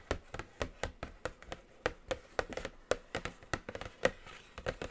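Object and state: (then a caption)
Cardboard palette box, hollow. A flat, medium-size, hollow black cardboard eyeshadow palette box with a glossy print is tapped with long acrylic nails and fingertips. About twenty quick, dry taps come in an uneven rhythm, each with a hollow mid tone near 530 Hz and a bright clicky edge that dies away almost instantly.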